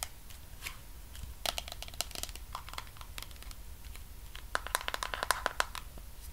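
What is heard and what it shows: A medium pink plastic body cream tub with a white lid is held in the hands while long nails tap rapidly on its sides and lid. The result is a quick run of dry, bright, typing-like clicks that die away almost instantly over a low background rumble and a faint steady tone. The tapping turns denser and louder toward the end.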